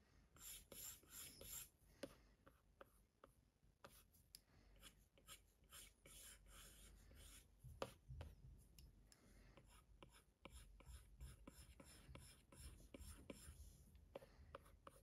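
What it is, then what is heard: Stylus drawing on a glass tablet screen. A plastic Apple Pencil tip scratches and rubs across the glass screen of a large iPad Pro in a case with repeated strokes. The quiet, scratchy drawing sounds come with many sharp, bright taps and clicks over a soft low rumble.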